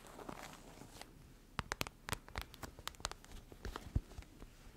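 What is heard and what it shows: A hollow, iridescent holographic plastic foil pouch is tapped and squeezed with long nails and fingertips. It gives a run of quiet, sharp clicks and taps mixed with soft crinkling. Each sound dies away almost at once.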